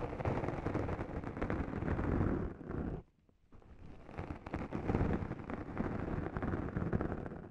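Two small sponge scourers, yellow foam with green or teal abrasive pads and held one in each hand with long nails, rub and scratch both sides of a soft, hollow black foam windscreen on a Zoom recorder microphone. The sound is a dense, low, rumbling scratch-and-scrape mixing the abrasive pad and the mic foam. It breaks off into near silence for about half a second near the middle, then resumes just as thick and muffled.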